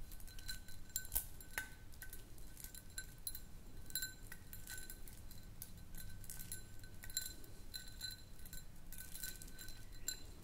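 Long nails tap rapidly on a small, round, clear glass jar that is partly filled with white powder or sand and tilted in the hands. The result is a steady run of quiet, bright clinks and ticks that fade almost instantly, over a soft, low background hum.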